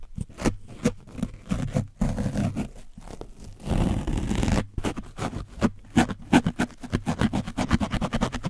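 A foam brush on a wooden handle scrubs over the top and sides of an orange foam microphone windscreen coated in dried paint. It produces a rapid series of dry, scratchy, muffled strokes with a heavy low-end rumble, broken by a longer continuous scrape midway before the quick strokes resume.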